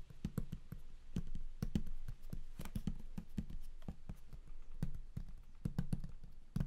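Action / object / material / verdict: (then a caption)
tap / large flat cardboard box / cardboard / none. Fingertips drum quickly on the lid of a large, flat, closed cardboard game collector's box. The hollow box answers with a rapid, steady patter of dull, low thuds that die away almost instantly.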